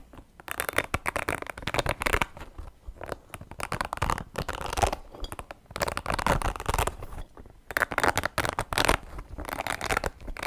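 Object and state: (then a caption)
Spiky rubber ball being scratched. Fingertips scratch and squeeze the spikes of a small, soft, hollow orange spiky rubber ball with blue and yellow patches. Dense, crackly scratching comes in several bursts separated by brief quiet gaps. A dull low rumble sits under the rustle, and each burst stops dead with no ring.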